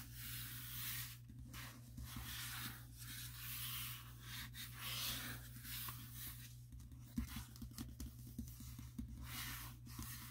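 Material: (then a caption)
Paper. Fingertips of both hands rub and tap the cover of a closed glossy paper furniture catalog, a thin, solid stack of pages lying on a table. A soft, bright rubbing hiss comes in slow sweeps with brief pauses, over a steady low hum. Light, short taps stand out in the second half.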